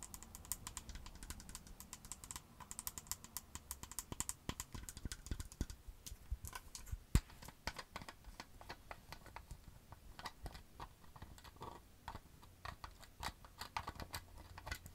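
Long acrylic nails tap rapidly on the white plastic cap and neck of a green plastic skincare bottle filled with liquid. The result is a continuous stream of quick, dry, clicky taps with no ring, over a faint low hum, with one sharper, louder tap about halfway through.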